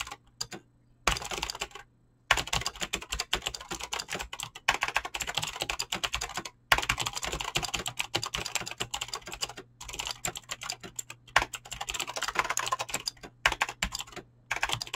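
Fingertips type fast on a Razer BlackWidow mechanical keyboard with clicky green switches and pink-blue dyed PBT plastic keycaps. Dense bursts of sharp, bright clicks and clacks run in quick rolling runs, broken by a few brief pauses. Each keystroke is short with almost no ring.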